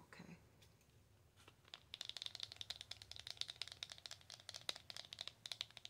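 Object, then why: Small cardboard box. A slim, long black-and-white printed Belle en Argent cardboard box, likely holding a cosmetic, is held in both hands and tapped and scratched with long acrylic nails. After a faint, soft scratching start, a rapid run of quiet, bright, dry clicks begins at about two seconds, centred near 3.8 kHz with no ring after each tap.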